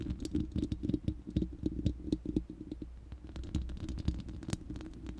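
Long nails scratch and tap the bare, hollow round steel mesh grille of an uncovered studio microphone. Quick, dry clicks and scratchy patter come in an uneven rapid stream over a low, boomy rumble. Each tap dies out almost at once.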